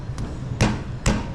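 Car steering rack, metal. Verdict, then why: Worn. On a 2013 BMW 320d, the driver side front wheel is tapped and a worn steering rack knocks back with three dull, low thuds. The first is faint and the next two are stronger. The knock comes from a wearing part behind the steering rack cap, which can be repaired instead of replacing the rack.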